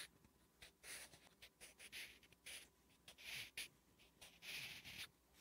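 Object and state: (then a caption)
Pencil writing on a paper notebook page. A wooden graphite pencil writes Korean letters on a flat, solid lined paper notebook page, making bright, dry scratching strokes. The strokes come in short bursts separated by brief pauses, with very little low-end body.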